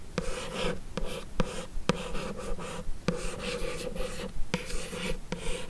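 Long acrylic nails scratch and trace across the lid of a closed, hollow, light blue rigid paperboard beauty box. The result is a continuous soft, scratchy rasp with a low hollow resonance, punctuated by seven sharp nail clicks at uneven intervals.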